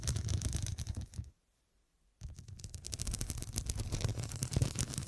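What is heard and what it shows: Long, dark, pointed nails tap rapidly and unevenly on the square, faceted glass studs covering a fabric cushion, making a dense run of short, bright clicks over a low thumping undertone. The tapping stops for about a second of near silence, then resumes just as quickly and steadily.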